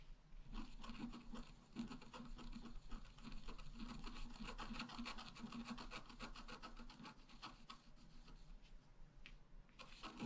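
A wooden stylus scratches the lower tree area of a flat, black-coated scratch-art paper card lying on a table. Quick, uneven rasping strokes follow one another for about ten seconds, with a dry, bright scraping texture over a faint low hum. The strokes thin out briefly near the end before a few more follow.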